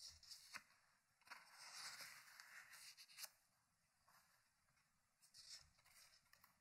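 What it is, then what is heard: Hardcover book pages being turned. Fingertips at the page edge turn pages of an open thick hardcover paper book resting on a wooden table. Quiet, bright papery rubs and swishes rise and fall, with a few sharper flips as each page snaps over.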